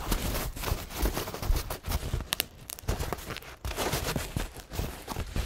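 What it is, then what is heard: Paint-stained paper towel being crinkled. A single thin, soft paper towel smeared with paint is held and unfolded between fingertips, gently crinkled and rubbed. Soft, irregular rustling and crinkling bursts carry through the clip, with a few brief, bright crackles among them.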